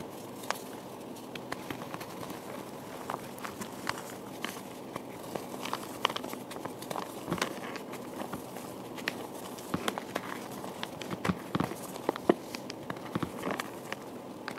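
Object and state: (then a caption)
Gym chalk blocks being crumbled. Bare hands squeeze, crush and crumble soft white gym chalk blocks and loose powder in a teal plastic tray, with some pieces already broken into powder. A steady, soft, gritty crunching runs throughout, scattered with many small, sharp crackles and crisp snaps that die away almost instantly.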